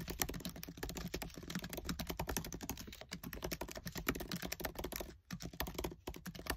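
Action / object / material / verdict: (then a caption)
tap / laptop keyboard with plastic keys / plastic / none. Fingertips with short nails type fast on the black plastic keys of a MacBook Air keyboard set in an aluminium body. A dense, steady stream of quick, dry clicks and taps runs throughout, each dying away almost at once over a low, steady hum. Brief gaps interrupt the stream near the end.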